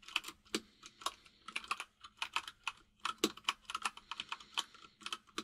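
Fingertips of both hands type on a full-size mechanical keyboard with white and grey plastic keycaps. About thirty quick, bright plastic clicks and clacks come in an uneven rhythm, with an occasional deeper thock. Each keystroke stops almost at once.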